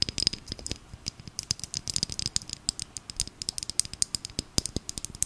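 Long nail tips tap quickly on a small, filled plastic glitter bottle held in the hands, making a rapid, uneven run of sharp, bright clicks. Each tap is dry and very short, with little low body and almost no ring, giving a crisp rattling texture.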